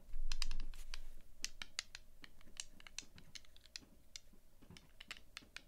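A few small, solid, translucent resin or plastic polyhedral dice are held together in both hands and clicked and rubbed against each other with dark-painted nails and fingertips, while other dice sit untouched on a dark cloth mat. Quick, irregular, bright clicks and light taps come at a rapid pace over a faint low hum. A louder scraping rub at the start settles into steady, quieter clicking.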